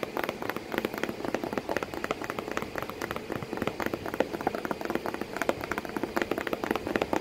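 Long painted nails tap and scratch the flat, hollow surface of a corrugated cardboard box flap while a cat sits inside the box. The result is a steady stream of quick, dry, papery taps centered in the midrange, each dying away almost instantly, with a faint scratchy hiss between them.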